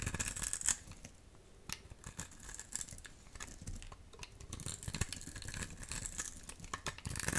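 A metal utility knife blade scrapes a solid, rectangular, dry blue soap bar held in the palm, peeling flakes off it. The sound is a dry, bright, crackly rasping made of many quick, irregular scratches. It is louder at the start, quieter in the middle, and busier again toward the end.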